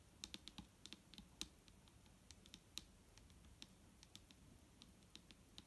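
Long nails tap quickly and irregularly on the body of a large, clear plastic micellar water bottle, full of liquid, lying on a table. Each tap is a short, bright, dry click that dies away almost at once over a faint low background, and the whole sequence is quiet.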